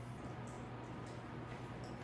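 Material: Nothing is struck.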